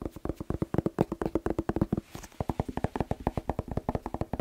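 A whole, fist-sized red bell pepper, hollow with waxy skin, is held in the hands and tapped quickly with fingertips and short nails close to the microphone. About 33 rapid, dry, hollow taps come through with a low body and a short clicky edge, each dying away almost instantly. There is a brief soft brushing pause near the middle.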